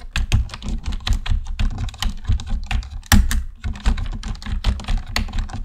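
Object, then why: Plastic computer keyboard. Fingertips of both hands type steadily on a black plastic computer keyboard, producing a rapid, uneven run of short clicking keystrokes. Each press is a dull, low thump with a faint bright click on top, dying away almost instantly. The last clear strike comes in at about 3.1 seconds.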